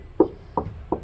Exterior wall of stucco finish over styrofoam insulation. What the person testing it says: 두드려 보면 속이 빈 소리 가 납니다